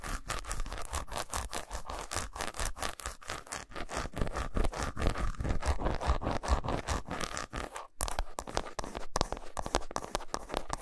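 Fingernails scratch along the grooves of a segmented solid milk chocolate bar resting on a towel and tap on it, making a fast, uneven run of dry scraping strokes and short, clicky taps. The sound is heavy in the low end with little brightness, and there's a brief pause around the eight-second mark before the scratching and tapping resume.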